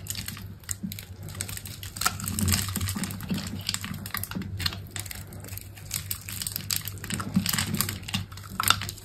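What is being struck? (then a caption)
Bar of soap cut with a blade. A utility knife blade cuts a grid into a solid rectangular bar of green soap with a black outer layer, held in a hand with long pink nails, and scrapes off small cubes. Quick, crisp clicks and bright scratchy scrapes follow one another over a steady low hum.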